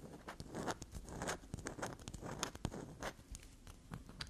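A solid bar of black soap, held in the hand, is scraped and dug into with long black nails, leaving soap shavings on the table. Quiet, dry, crunchy scratches and soft taps come in fast, irregular bursts, each one short with a bright, gritty edge.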